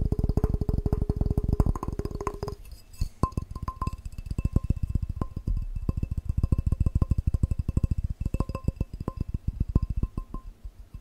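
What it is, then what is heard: Empty glass cup. A tall, clear, hollow and empty drinking glass with a red pattern is held in the hands and tapped fast with the fingertips and nails. The result is a dense, rapid run of short, dull, low-heavy taps: for the first two and a half seconds they carry a steady mid-pitched ring, then sharper clicks with a brief ringing ping on some hits.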